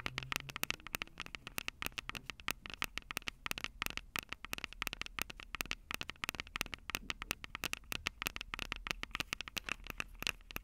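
Long purple acrylic nails tap and scratch the two small crossed metal mesh microphone capsules on the hollow plastic body of a Tascam DR-05 handheld recorder. Rapid, closely spaced clicks with almost no ring run through the whole clip, bright and metallic with a tone around 2.6 kHz, over a faint low rumble and light scratchy crackle.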